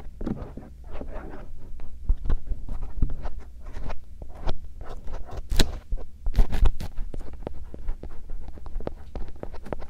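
A bamboo earpick gently scratches near the canal opening of the silicone ear shells on a binaural microphone. Soft, dry scratching and rustling repeat throughout over a steady low rumble, with a few sharper clicks.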